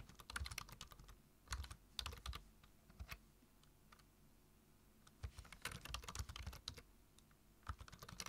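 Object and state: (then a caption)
Plastic computer keyboard being typed on. Fingertips type on a black plastic computer keyboard, tapping the keys in quick bursts with short pauses between them. Each keystroke is a short, dry click with a bright top and a soft low thump underneath.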